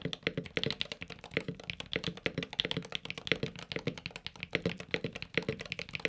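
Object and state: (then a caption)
Mechanical keyboard typing. Fingertips type and tap quickly on a Luminkey Magger68 Pro HE, a solid, desk-mounted 65% aluminum mechanical keyboard with magnetic switches, a cream case and cream and orange PBT keycaps. Around fifty short, dry keystrokes come in a steady, uneven rhythm, each a crisp, bright clack over a soft, low-mid thock that dies away almost instantly.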